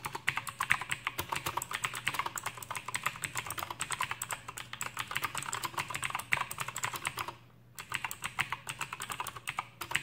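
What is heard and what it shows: An Aukey KM-G6 full-size backlit mechanical keyboard with plastic keycaps and clicky Outemu blue switches is typed on with the fingertips of both hands. A steady stream of sharp, bright clicks and clacks runs throughout, with a brief pause just past the seven-second mark before the typing resumes. A faint low hum sits underneath.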